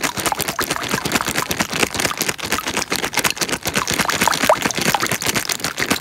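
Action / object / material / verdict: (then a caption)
shake / thin plastic bag filled with water / plastic / none. Hands squeeze and crumple a small, clear, thin plastic bag filled with water. A dense, continuous stream of bright, sharp crinkles and crackles comes from the bag film, with small sloshing chirps mixed in. The texture stays busy and crisp throughout, with each crackle dying away almost at once.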